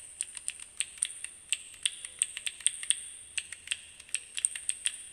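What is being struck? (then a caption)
Plastic keycap fidget cube. Fingertips repeatedly press and click the colored plastic keyboard-style keycaps of a small, solid handheld fidget cube held in both hands. About 25 quiet, sharp, bright clicks come in an irregular tapping rhythm over five seconds, each dry and gone almost instantly, with no low end.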